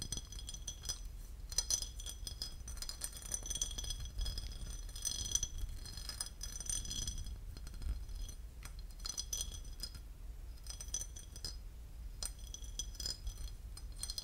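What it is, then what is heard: Porcelain lid. A porcelain lid is tapped and scratched, giving rapid, bright ceramic clinks and scraping ticks over a steady low hum. The sharp clinks die away almost instantly and come in irregular bursts throughout.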